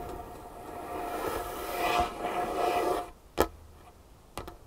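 Long painted fingernails tap a large, solid, dark-stained wooden tabletop, with one hand lifting between strikes. About three seconds of soft, steady rustling noise give way to three sharp, dry taps with almost no ring: one clear tap, then a quick pair near the end.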